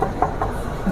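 Knocking on the steel body panel of a 2023 Vespa Elettrica electric scooter gives three short metallic knocks with a mid-pitched ring, over a low background rumble. The body is metal rather than plastic.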